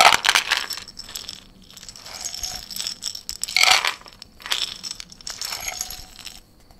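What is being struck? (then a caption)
Glass jar with dried herbs. A small clear glass jar with a white lid, partly filled with dried green plant matter, is held in the hand and shaken and tilted so the contents rattle against the glass. The result is bright, dry rattling and rustling that comes in several swelling waves, loudest at the start and again near the middle, with almost no low end.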